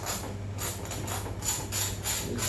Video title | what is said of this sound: #justincooks CRISPY ROAST PORK - 脆皮烧肉 | you can hear how crispy is it and this is actually the cookie kind of crispiness this ultimate texture of the skin